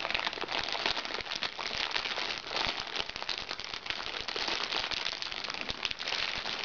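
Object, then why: Plastic package. A crinkly plastic package is turned and squeezed between both hands, crinkling the plastic. A steady, dense stream of bright crackles and crinkles runs throughout, with almost no low end and only small swells in loudness.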